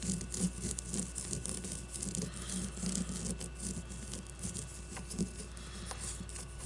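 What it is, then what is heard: Leather baseball. Long nails scratch and tap the surface of a solid white leather baseball with red stitching, held on a table. The result is a soft, steady scratching with a bright hiss, broken by dull, low tapping thuds over a constant low hum.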